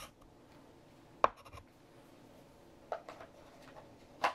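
A hand writes with a light green chalk stick on a large, flat black chalkboard until the sentence is finished. Quiet chalk scratching strokes are heard, broken by a few sharp, bright taps and short scrapes centered around 1 kHz, with very little low end.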